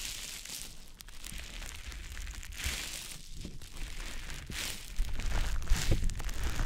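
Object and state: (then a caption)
Wet konjac sponge puff. A small, soft, damp green teardrop-shaped konjac sponge puff is held in fingers and rubbed over the silicone ear of a dummy-head microphone. It makes close, wet squishing and crinkly rubbing sounds with a low rumble underneath, growing louder and denser toward the end.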